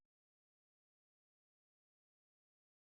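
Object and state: Nothing is struck.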